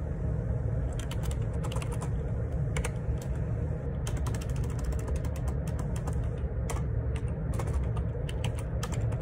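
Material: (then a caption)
Plastic. Fingertips type rapidly on the plastic keycaps of a black plastic Perixx Periboard 612 wireless Bluetooth ergonomic split keyboard with a hollow housing, lying on a grey laminate desk. Quick, bright clicking keystrokes come in bursts over a steady low hum.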